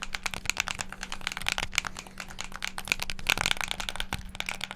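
Fingertips rapidly press the colored face buttons of a hand-sized, hollow black plastic Xbox game controller held close to the mic. A fast, dense stream of sharp plastic clicks and taps, bright around 2.2 kHz, is heard, each one dying instantly over a faint steady low hum.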